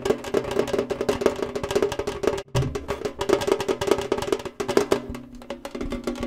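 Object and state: Metal cereal tin.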